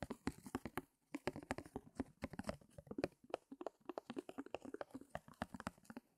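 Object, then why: Back of a stretched canvas on a wooden frame. Fingernails tap and scratch quickly on the back of a small stretched canvas, its taut fabric pulled over a hollow wooden frame. A rapid, uneven run of about 37 soft, dry taps and scuffs, each with a short hollow thump around 370 Hz and a brief papery tick, is broken by short pauses near 1 and 3 seconds.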